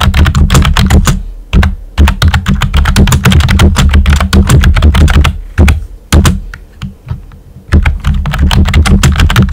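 Fingertips with short nails type on a pink and white plastic computer keyboard with round typewriter-style keycaps and hollow keys. Quick, uneven bursts of hollow, low-heavy clacks come with short crisp ticks and brief pauses between runs.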